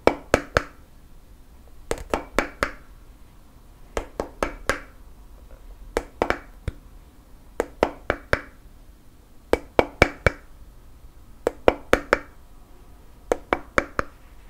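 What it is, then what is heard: Wooden lid on a candle jar. Fingertips and nails knock and tap a round, flat wooden (bamboo) lid resting on a black candle jar. Thirty-one short, dry taps arrive in eight quick bursts of three or four, each with a hollow woody tone around 500 Hz and a bright click. Every tap dies away almost instantly against a quiet background.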